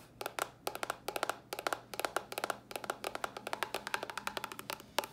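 Long nails tap and scratch a small, hollow white cardboard box, giving about 36 dry, clicky taps in quick, uneven bursts. Each tap has a hollow mid-pitched knock with a bright edge and dies away almost instantly, over a faint low hum.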